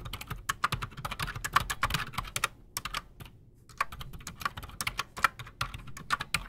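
Both hands type fast with their fingertips on a solid, full-size black Redragon mechanical keyboard with PBT plastic keycaps and silent switches, resting on a desk. Quick, dry, muted clicks come in rapid bursts with a bright edge, with a brief pause near the middle before the typing resumes.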